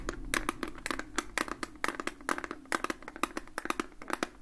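A hollow plastic Fujifilm Instax instant camera with a lens barrel is held in both hands and tapped and scratched with fingertips and nails, the fingers wearing rings. A quiet, rapid, uneven run of short, dry, clicky taps is heard over soft scratchy rustling, each tap dying away almost at once with a bright plastic edge.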